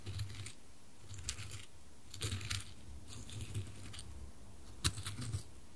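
A white-gloved hand taps and knocks a small solid dark-wood cube against square light-wood coasters, switching from the left coaster to the right one. Clusters of rapid, dry wood-on-wood clicks with bright edges come in short bursts, each dying away almost instantly over a steady low hum.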